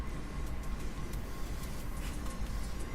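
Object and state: Nothing is struck.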